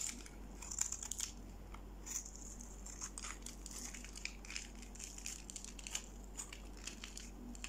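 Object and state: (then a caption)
Dry bar soap scraped with a blade. A solid pink dry soap bar, held in the hand, is scraped with a utility-knife blade, shaving crunchy curls onto a pile of pink flakes. Soft, bright, crackly scratches repeat throughout over a low, steady hum, with sharper crunches standing out now and then.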